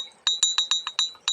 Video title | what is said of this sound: Batu giok temuan sungai lukulo kebumen -- jadeite jade stone -- Batu giok -- Batu gigi petir -- | bunyinya tuh nyaring beda dengan yang lain